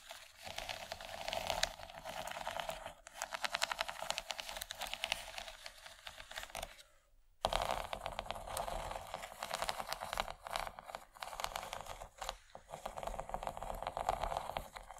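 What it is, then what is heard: Plastic tray scratched and tapped with nails. Long nails scratch and tap across the bumps of a large, empty, yellow textured plastic tray. The result is a dense run of quick, dry, bright clicks and scratches centered around 650 Hz with almost no ring, broken by a brief near-silent pause around the seven-second mark before continuing.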